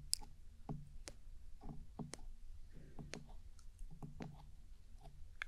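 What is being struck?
Plastic binaural microphone body.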